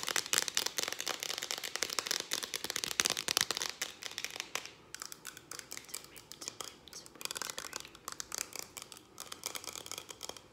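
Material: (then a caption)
Aluminium, plastic. Long dark acrylic nails tap fast on a hand-held, hollow Farmdale whipped cream aerosol can, striking both its aluminium body and its ribbed purple plastic cap. The result is a dense stream of quick, bright, dry clicks and ticks with no low end and almost no ring. The tapping is busiest in the first half and turns slightly softer after about five seconds.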